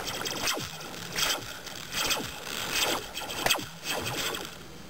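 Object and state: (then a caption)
Metal slinky spring. A metal slinky spring is dropped near the ear, producing six bright, zappy "pew" sweeps that each slide quickly from high down to low pitch. The sweeps come at an uneven pace, about one every second, with short metallic rings that die away fast.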